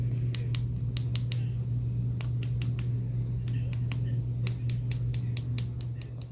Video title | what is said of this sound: ♡ AZURE BEAUTY Fall Dip Powder Kit Review ♡ Color Changing & Nude Nails ♡ | when you hear that little clicking noise, then that means that they're completely dry